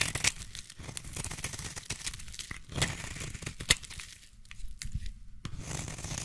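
A solid green bar of soap is held in the hand while the tips of scissors scratch and score its surface. The scraping gives a dense, crackly texture of rapid, dry tearing and crinkling sounds with sharp bright clicks, over a low rumble. A few louder snaps stand out before the scratching steadies again.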